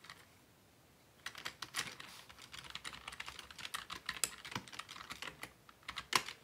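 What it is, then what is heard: Plastic computer keyboard. After about a second of near silence, both hands type with their fingertips on a black plastic Dell desktop keyboard resting on a wooden desk. The result is a steady run of quick, crisp, bright key taps with very little low end and almost no ring, with a few louder clacks standing out near the end.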